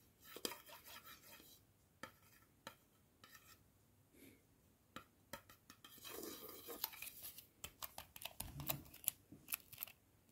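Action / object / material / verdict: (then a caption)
tap / plastic screw-top jar lid / plastic / none. A round, hollow black plastic screw-top jar lid with a white inner liner is held in one hand and tapped on the liner with a fingertip and nail, then handled and tapped on its outer rim. The sound is a quiet series of sharp, dry, bright clicks and taps that stop instantly with no ring, broken by soft handling rustles and a dull low bump.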